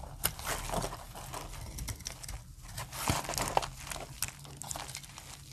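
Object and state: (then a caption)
Dry soap bar being shaved. A metal blade shaves dry curls from the edge of a solid light brown soap bar with a stamped face. The result is a steady run of soft, crisp crinkling scrapes with brief bright clicks and a faint low hum underneath.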